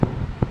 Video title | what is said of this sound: How to load fabric and tighten your embroidery ring. | ഈ ഒരു ശബ്ദം കേൾക്കുന്നുണ്ടെങ്കിൽ നന്നായിട്ട് ടൈറ്റ് ആയിട്ടുണ്ട്